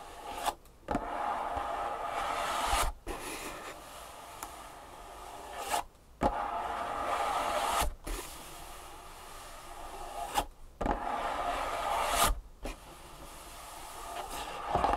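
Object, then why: Cardboard box. Long nails scratch and tap the top of a closed, long printed cardboard insole box resting on a wooden table. Steady stretches of dry, hissy scraping centered in the mid-range alternate with brief silent gaps, punctuated by sharp, bright taps.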